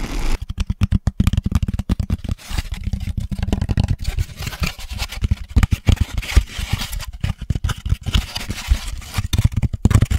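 An empty, hollow four-cup drink carrier tray of grey-white molded paper pulp, about 25 cm across, is held up close to the microphone and tapped and scratched with the fingertips of both hands. The result is a rapid, dense stream of dull, low, papery thumps with scratchy rustling between them. Each tap dies away almost instantly.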